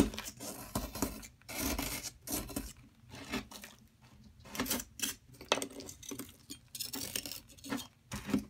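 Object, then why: Plaster excavation block. A metal tool scrapes and chips at a solid yellow plaster excavation block held by a hand with long nails, while crumbs pile up beside it. Short gritty rasping bursts come one after another, bright and hissy on top with a dull low body and brief pauses between strokes.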